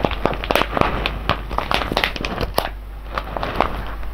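A large sealed silver foil-laminate coffee bag full of whole beans, resting on cloth, is pressed, squeezed and rubbed with the fingertips of both hands. Dense, crisp crinkling and crackling come through with many sharp, bright clicks and a steady low hum underneath. The clicks die away almost instantly, and the texture eases briefly before picking up again.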